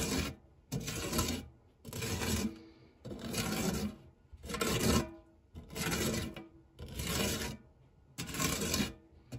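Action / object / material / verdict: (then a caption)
scrape / metal tart tin with textured nonstick base / metal / none. A white silicone spatula with a blue handle rubs and scrapes across the dark textured nonstick base of a shallow, round fluted metal tart tin that is empty apart from cake crumbs. About seven steady, rasping strokes of roughly one second each are heard, separated by short pauses, with a low body and a bright, hissy top.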